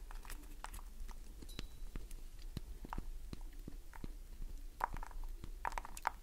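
Long nails scratch and tap across the surface of a solid green glycerin soap bar, making a rapid run of crisp, dry clicks and scrapes as shavings fall away. The sharp ticks sit over a steady low hum, with a few brighter, louder scrapes near the end.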